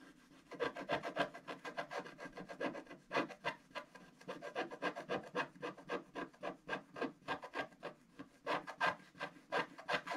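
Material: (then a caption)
Waxed paper. A wooden stylus makes rapid hatching scratches across a flat black sheet of wax-coated scratch art paper, etching gift boxes. Dozens of short, dry, rasping strokes come in uneven bursts of about three per second, each centred in the midrange around 580 Hz with a faint bright edge. Each stroke cuts off almost at once, with virtually no low end.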